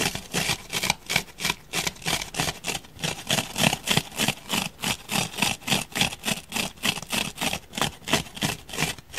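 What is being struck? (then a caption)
Foam block. Fingernails and fingertips scratch and gouge the surface of a palm-sized solid grey foam block. The result is a rapid, steady train of bright, dry scratching strokes, about three per second. Each stroke is a short burst of hissy, rasping noise with a faint low scrape underneath.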